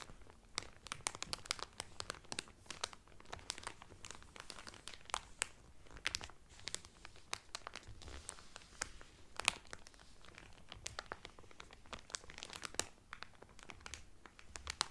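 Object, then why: Cellophane film over a folded cotton towel. Both hands rub and crinkle the cellophane film wrapped around a folded cotton towel. Dense, rapid crackling snaps with bright, crisp highs continue throughout at a soft, steady level.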